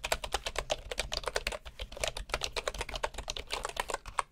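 Fingertips of both hands type steadily on a full-size bamboo wood computer keyboard with wooden keycaps. Dense, quick key taps overlap into a continuous clatter. Each tap is short and dry, with a woody mid-range knock and a bright click.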